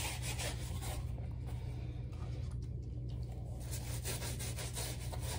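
A wooden-handled bristle brush scrubs a black rubber slide sandal with foam on the strap in repeated brushing strokes. The bright, raspy scrubbing is strongest at the start and end and thins out in the middle, over a steady low hum that holds throughout.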